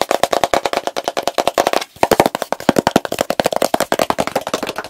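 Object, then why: Plastic jar with plastic lid. A medium plastic petroleum jelly jar, full of pale jelly, has its blue plastic lid tapped and scratched fast with fingertips and nails. About forty short, dry clicking taps come in a rapid, uneven run, with a brief pause just before the two-second mark. Each tap is a hollow, mid-pitched plastic knock with a bright scratchy edge and almost no ring.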